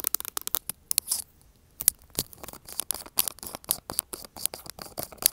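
Long acrylic nails tap and scratch the glass sides and lid area of a small glass jar filled with green contents, held in the hand next to an earbud mic. A rapid, uneven run of sharp, bright clicks and ticks comes through, mixed with short gritty scratches and a brief longer scrape, each sound dying away almost instantly with little low end.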